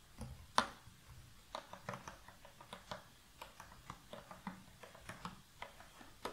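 Both hands with long nails grip the sides of an open, medium-sized rectangular cardboard puzzle box full of loose cardboard jigsaw pieces, seemingly tapping and shaking it so the pieces rattle. About fifteen short, dry clicks and taps are heard, with one louder, brighter knock near the start, each dying away almost instantly over a quiet background.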